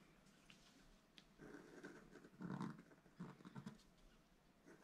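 A wooden stylus scratches a second stripe into the top corner of a black-coated scratch-art card lying flat on a table and held down by one hand. Quiet, dry scratching strokes come in uneven bursts, the loudest midway, with a low, raspy body and little high-end brightness.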